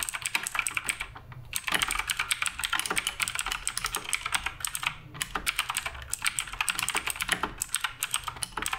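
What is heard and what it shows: Continuous fingertip typing on the plastic keycaps of a black RGB Redragon K588 Broadsword mechanical keyboard. Rapid, bright, short clacks run steadily, with brief pauses near 1.3 and 4.9 seconds.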